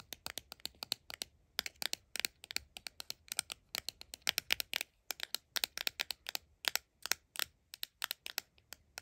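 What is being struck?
Small cardboard box tapped with fingernails.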